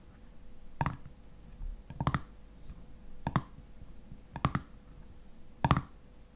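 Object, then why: Metal screw lid on a glass jar. Fingernails of one hand scratch and tap the ridged black metal screw lid on a full glass honey jar. There are five clusters of short, dull, low clicks, some doubled, with faint scratching between them. Each tap dies away almost at once.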